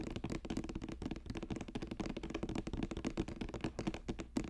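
Fingers tap quickly on a woven basket, making a rapid run of dull, short, hollow taps with almost no ring. The taps blur into a steady patter, so no clean count is possible.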